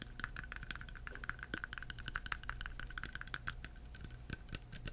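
A small clear plastic hand sanitizer bottle with liquid inside and a white cap is held upright and tapped with bare fingertips, no nails. A quick, uneven run of many soft, dry taps, each with a short hollow plastic tone near 1.3 kHz and a bright tick that dies away almost instantly, sits over a faint steady low rumble.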